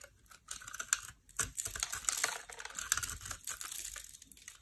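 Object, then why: Small bar of soap scraped with a metal blade. A small, solid, heart-shaped bar of dry pink and white soap, held in the hand, is scraped with a metal utility knife blade. The result is a dense run of crisp, bright scraping and crackling with rapid dry ticks and almost no low end.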